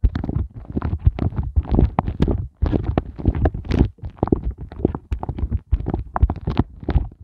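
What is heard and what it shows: Fingernails and fingertips of both hands rapidly tap and scratch the raised hollow hearts of a pink, soft silicone heart ice cube mold tray. The result is a dense run of muffled, low, hollow thumps mixed with soft scratchy rustling. The sound continues almost without pause, with only brief silent breaks.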